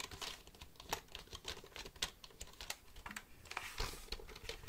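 Fingertips tap the keys of a black plastic computer keyboard held close to the microphone. It makes a quiet, irregular run of short, dry clicks with a bright, crisp edge and almost no ring after each press.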